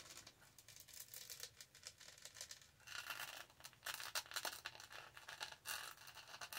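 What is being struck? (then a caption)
Studded plastic tumbler. Long nails scratch over the textured studded body and lid of a tall black hollow plastic tumbler with a green straw. A quiet, dense run of dry, bright scratching and ticking follows, growing louder and busier after about three seconds.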